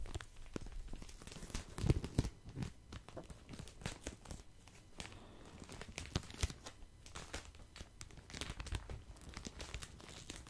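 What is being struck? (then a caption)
Pack of cotton pads in thin plastic wrap. A hand-sized pack of cotton pads in thin, crinkly plastic wrap is held close to the microphone while fingertips squeeze and scratch the wrapper. The result is a steady, irregular stream of soft crinkling and tearing-like crackles, with brief sharp snaps standing out near the two-second mark and around six seconds.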